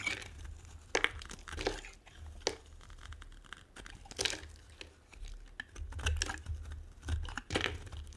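A small metal blade carves and scrapes flakes from a solid, dry, oval, hand-sized white soap bar held in the hand, and the crumbs fall onto a table. Crisp, crunchy scrapes and bright tearing bursts come in irregular strokes over a low steady hum.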